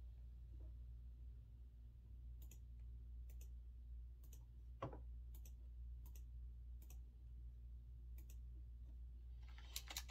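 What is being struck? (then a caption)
Mechanical keyboard with round keycaps. Fingertips slowly press keys on a retro typewriter-style mechanical keyboard with round chrome-rimmed keycaps, giving sparse, sharp, bright clicks spaced about a second apart. A steady low hum runs underneath, and a quick flurry of brighter clicks comes at the very end.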